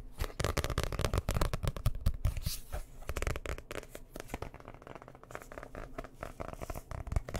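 Fingernails rapidly tap and scratch on the cover of a dark blue hardcover book held in both hands close to the mic. The result is a dense, irregular stream of quick, dull, low-heavy taps mixed with brief scratchy rasps, a little louder in the first few seconds and then steady.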